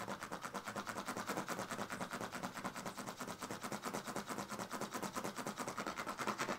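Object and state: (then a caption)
Woven plastic-strip sleeping mat. A pink plastic comb held in the fingers is scratched repeatedly along the ridged surface of a partly rolled woven plastic-strip sleeping mat. The result is a steady, fast, raspy scraping with rapid ticking pulses and a bright texture that continues without a break.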